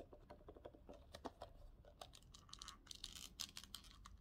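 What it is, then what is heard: Hard faux-leather glasses case. A small, hollow, hard-shell glasses case covered in green faux leather with a metal hinge is tapped and scratched with fingertips and short nails, then opened at the end. The quiet, quick taps and bright scratches are dry and crisp, with little ring, much like soft typing.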